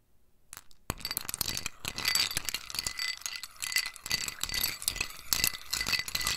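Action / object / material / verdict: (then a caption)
scrape / ceramic bowl with ice cubes and metal spoon / ice, ceramic / none. A metal spoon stirs ice cubes in a small white scalloped ceramic bowl held in the hand, clinking the ice against the ceramic. After a brief quiet start, a sharp clink opens a steady stream of rapid, bright, glassy clinks and rattles with very short ring, swelling and easing in loose bursts until the end.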